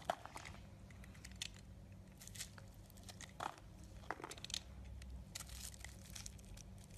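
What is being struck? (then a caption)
Bar of soap. A solid black-and-white marbled bar of soap, hand-sized, is scraped and chipped with a yellow utility knife blade. Quiet, dry crinkly scraping is broken by short, sharp crunchy chips and bright scratching bursts over a low steady hum.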